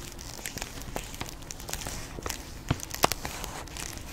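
Long pink acrylic nails scratch and tap a plastic Jolly Rancher hard candy bag, filled with candy and held close to the mic. The result is a steady, quiet run of irregular crinkles and scratches with bright, crisp edges. A couple of sharper, louder taps stand out near the end.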